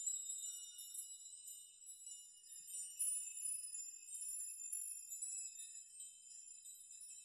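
A steel nail chime made of many long hanging steel nails is pushed with open palms so the nails swing, rock and clink together. The result is a continuous, quiet shimmer of bright, high metallic tinkling with dense overlapping rings and no low end.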